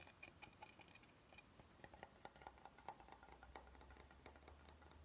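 Fingernails tap on the edge and top surface of an oval, solid wooden cutting board held flat. A quiet, steady stream of quick, dry taps has a short woody ring near 830 Hz, with a brighter ring near 2.4 kHz in the first taps. A faint low hum runs underneath.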